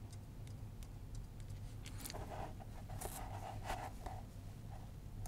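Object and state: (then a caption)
Vegetable-tanned leather sheet. The metal tip of a wooden-handled awl scratches and scribes a flat, solid sheet of vegetable-tanned leather lying on a cutting mat, with the fingertips of the other hand holding it down. Short, dry scratching strokes with bright, hissy edges and a faint tone near 750 Hz sit over a steady low hum that dominates the quiet clip.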